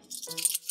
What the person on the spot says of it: there's Little Gems inside so that when you shake it you can hear it kind of clinging